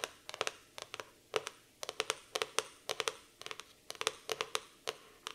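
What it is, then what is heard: Laminated cardboard notebook cover. Long nails tap and scratch the glossy laminated cardboard cover of a black floral hardcover notebook. A rapid, irregular series of sharp, bright clicks comes in small clusters, each dying away almost instantly, with faint scratchy rasps between them and no low-end body.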